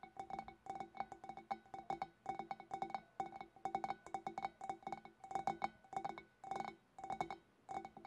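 Fingernails tap continuously on a glass fish bowl, making quick bursts of bright, short clinks with a steady ring near 785 Hz. The taps come in rapid clusters separated by brief pauses, and each clink dies away almost at once.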